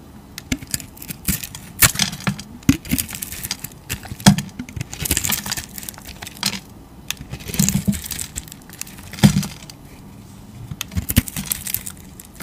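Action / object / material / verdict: scrape / soap bar with wax crayon crust / soap, wax / none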